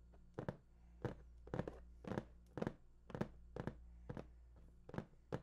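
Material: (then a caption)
Cardboard. Fingers tap and drum on the top of a large, hollow, printed cardboard PS4 box. They make dull, hollow thunks in quick, uneven clusters over a steady low hum. Each tap dies away almost at once.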